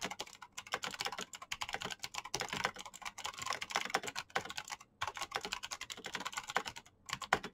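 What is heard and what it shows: Very fast typing with fingertips on a black plastic mechanical keyboard with clicky switches produces a dense stream of sharp, bright clicks that die away almost instantly. The bursts come in quick runs, broken by brief pauses near the half-second, five-second and seven-second marks.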